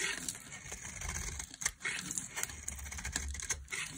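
A solid rectangular bar of dry white soap, held in a hand with long painted nails, is shaved with a flat metal blade, and curls of soap pile up on the table. Quick, dry, crisp scraping and crackling strokes come in rapid bursts with a bright, hissy edge and very little ring after each one.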